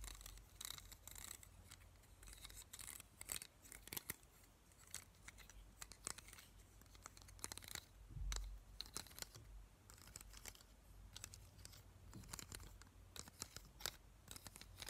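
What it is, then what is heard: Plastic hair claw clip. A small, hollow black plastic claw hair clip is held in both hands while fingertips and nails scratch and tap its teeth and body, and the clip is clicked open and shut. Quiet, dense, crisp ticks and scratchy rasps with a bright, high edge sit over a faint low hum, with occasional sharper snaps standing out.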